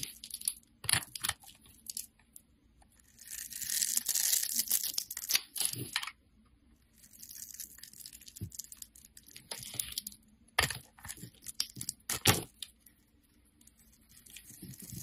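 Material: Soap.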